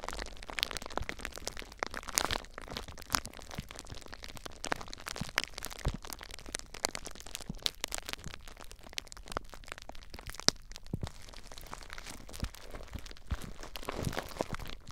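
Clear plastic bubble wrap, wrapped tightly around a recorder, is gripped and squeezed by fingers, crinkling it. The result is a dense, continuous run of sharp crackles and pops with bright, high crinkling over a low rumble, going on for the full fifteen seconds.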